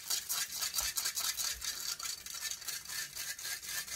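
Long fingernails scratch the hollow metal mesh grille of a silver condenser microphone. The result is a rapid, uneven run of harsh, bright scraping strokes, almost all hiss-like high energy with very little low end, and each stroke dies away almost at once.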